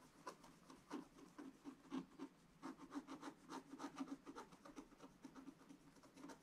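The tip of a wooden stick scratches short strokes into the black wax coating of a scratch-art paper page in a spiral book. About sixteen quiet, dry, raspy scratches come at an uneven pace, each with a slight low hum. Each scratch stops dead with no ring.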